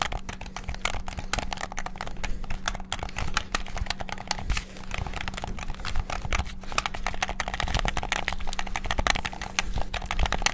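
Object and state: Plastic game controller buttons.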